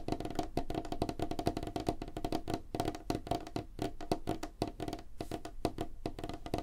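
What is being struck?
Wooden tabletop.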